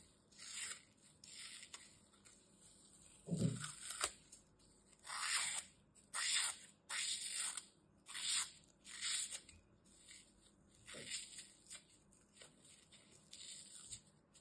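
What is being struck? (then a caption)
Green floral foam piece. A metal utility knife slices and scrapes a small remaining piece of solid green floral foam with glitter, held in the fingers. About ten separate bright, hissy scraping and crunching strokes come at an uneven pace, one with a duller low thump.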